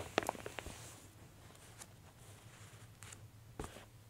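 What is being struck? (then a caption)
Glossy paper catalog. Long-nailed fingertips press and rub the center spread and page edge of an open J. Jill women's clothing catalog made of thin glossy paper, lying on a table. A quick cluster of crisp, bright paper crinkles and taps comes at the start, followed by quiet soft rubbing and another small crinkle near the end, over a faint low hum.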